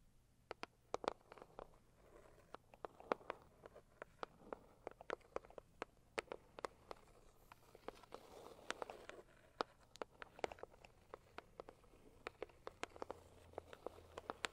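Long acrylic nails on both hands tap on the lid of a medium, hollow pink floral Saviland cardboard gift box. The result is a quiet, steady stream of quick, dry, clicky taps in an irregular rhythm, each with a hollow midrange knock around 490 Hz and a bright edge that dies away almost at once.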